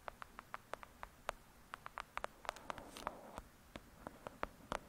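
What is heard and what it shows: Long acrylic nails tap the cover of a thick, solid *Lady Midnight* paperback book lying flat, making about 25 quick, dry clicks with a hollow papery tone around 630 Hz and bright tips. The taps are irregularly spaced and die away almost instantly. A soft scratchy rustle rises between them around the three-second mark.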